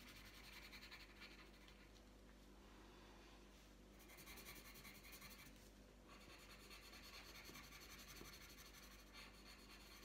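The tip of a green wooden coloured pencil rubs back and forth across a thin, flat printed paper mandala colouring sheet lying on a tabletop. It makes a soft, continuous, bright scratchy rasp that swells and eases in quick strokes over a faint steady low hum. The result is a quiet, even colouring sound throughout.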